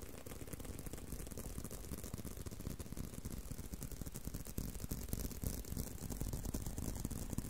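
Fingertips and nails scratch and tap a long, solid brown leather belt strap bent in an arc in front of a microphone. The result is a steady, dense stream of soft, muffled taps and scratchy rubbing, heavy in low thumps with a faint bright hiss and little ring.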